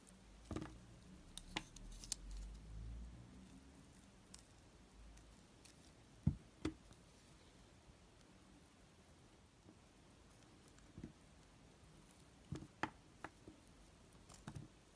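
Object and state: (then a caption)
Glycerin soap bar being carved. A utility knife blade scrapes and carves pre-scored cubes off a hand-held, palm-sized, solid bar of translucent pink glycerin soap with gold glitter. Quiet, irregular crisp clicks and snaps, each dying away almost instantly, are scattered over soft scraping and a low background hum. There are longer silent gaps between them, and the soap sounds crisp rather than squishy as pieces break away.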